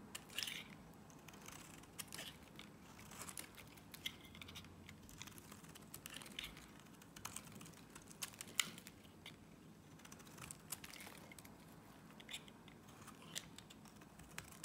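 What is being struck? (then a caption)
Soap bar. A box-cutter blade shaves layered strips from a solid pink Nivea soap bar, producing quiet, dry, bright scraping and crinkling cuts. Many short crisp strokes with sharp onsets and almost no ring sit over a low, soft background hiss.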